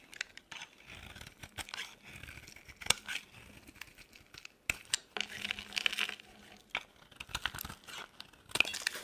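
A solid, dry white rectangular soap bar held in the palm is chipped with a utility knife blade, scraping and cutting into it. Bright, crisp scraping and crackling bursts with sharp little clicks come in uneven runs, separated by short quiet gaps. The sound is quiet overall and almost entirely high-pitched, with very little low end.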